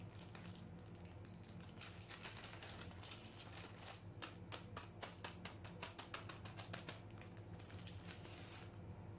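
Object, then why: Plastic-wrapped cookie package. A small sealed pack of M&M's Cookies in a crinkly plastic and foil wrapper, full of cookies, is held above a steel ice cream plate and quickly tapped and crinkled by gloved fingertips. Sharp, bright crinkles and dense clicking taps come in fast bursts over a steady low hum.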